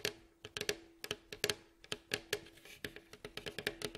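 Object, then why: Wooden staved mandolin bowl back. Fingertips and nails of both hands tap quickly across the glossy, hollow, striped, varnished wooden staved bowl back of a face-down mandolin. About twenty quiet, dry taps sound in an uneven rhythm, each a bright click with a short hollow wooden tone that dies away almost at once.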